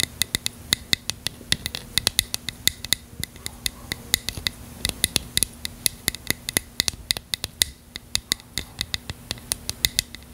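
Long fingernails tap and scratch a small, hollow bottle of translucent purple plastic with a cap. The result is a quick, uneven stream of sharp, dry, bright clicks that die away almost instantly, with faint scratchy friction and a low steady hum between them.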